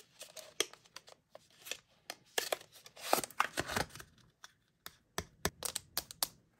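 Short pink nails scratch and tap the glossy printed surface of a small, hollow, sealed Kinetic Sand cardboard toy box held in the hands. A quiet run of dry, crisp taps and scratchy rasps comes in uneven clusters, with brief bright bursts around the middle and near the end, each one dying away quickly.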